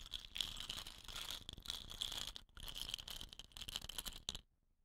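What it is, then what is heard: Wooden rain stick rattling. Fingernails tap and scratch the tube of a hollow, dot-painted wooden rain stick, setting off a strong, bright rattle from its inner filling with a steady hiss centered near 3.4 kHz. The dense rattling pauses briefly midway, resumes, then cuts off into near silence just before the end.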